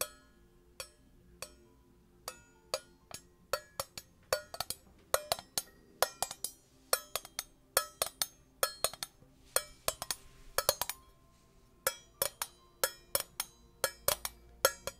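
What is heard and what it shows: A small, round, shiny metal tin lid, hollow and thin-walled, is held in both hands close to the microphone and tapped with long painted nails. An irregular run of quick, sharp, bright clicks follows, each with a faint metallic tone around 540 Hz that dies away almost at once. The tapping is quiet overall, with some taps falling in fast clustered bursts.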